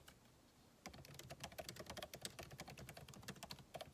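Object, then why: Laptop keyboard, plastic keys in aluminum body. Fingertips type on a backlit MacBook Pro keyboard with plastic keycaps set in an aluminum body. After a brief near-silent pause, a rapid, continuous run of light key taps begins. Each tap is a short, bright click with a soft low thud beneath it.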